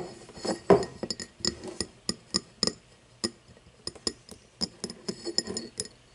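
An empty cut-crystal glass tumbler, first with its mouth and then its side turned toward the camera, is tapped with long nails. About twenty quick, irregular clinks each ring briefly with a bright glassy tone over a low body near 400 Hz. The sound is quiet and clipped, with short pauses between the taps.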